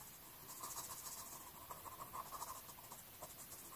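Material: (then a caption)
Paper. An orange colored pencil held in the fingers makes short scratching strokes on the page of an open paper coloring book lying flat, coloring a flower. The sound is a quiet, continuous run of soft, papery scratches with a bright hiss and a faint tone around 1 kHz.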